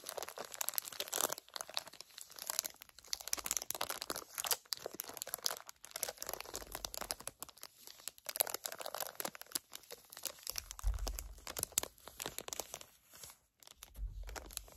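Long nails crinkle and scratch a flat plastic package holding two gel eye pads. The result is a dense, bright stream of crisp crackles and rustles with brief quiet gaps, plus a soft low rumble of handling near the end.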